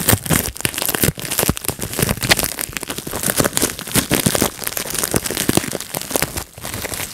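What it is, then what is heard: Plastic bubble wrap. A clear plastic bubble wrap sheet is held in both hands while fingertips pinch and pop its air bubbles. A dense, rapid run of sharp, bright pops and snaps overlaps with crinkling of the plastic for the whole clip. Only a few brief dips break the steady popping.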